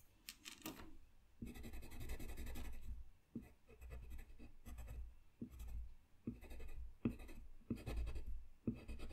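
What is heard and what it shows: A colored pencil scratches and rubs over a thin, solid sheet of flat white drawing paper lying on a desk while coloring. Bursts of dry, scratchy back-and-forth strokes alternate with brief pauses, the sound mostly low and soft with faint bright grain at each stroke.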